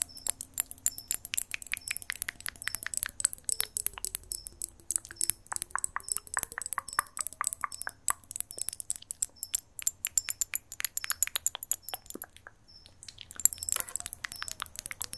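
A small, clear, solid-walled, hollow glass jar with a green label and lid is held close to the microphone and tapped rapidly with long acrylic nails. The result is a dense stream of short, bright clicks and clinks that barely ring, pausing briefly near the end before resuming, over a faint, softly gliding low tone.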